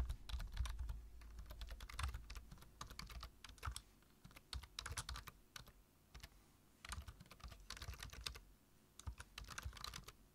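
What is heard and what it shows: Fingertips tap the keys of a black plastic low-profile computer keyboard while typing. Quick, irregular bursts of short, bright clicks with a soft low thump under them are broken by brief pauses. Each tap dies away almost at once.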